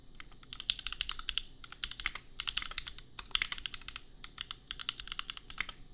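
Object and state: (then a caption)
Plastic mechanical keyboard. A compact custom mechanical keyboard, priced at $250, with Gateron Milky Yellow switches and red and pink plastic keycaps, is typed on quickly with the fingertips. Rapid, bright plastic clacks, centered around 3 kHz, come in dense bursts separated by brief pauses. Each keystroke is dry and dies away almost instantly.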